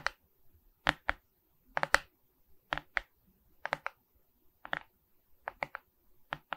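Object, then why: Resin rhinestone diamond painting on a wooden-framed canvas. A Mickey Mouse diamond painting of resin rhinestone beads on a wooden-framed canvas, held upright, is scratched with long red nails. Short, dry, bright scratching clicks come in quick clusters of two or three, with quiet gaps between them.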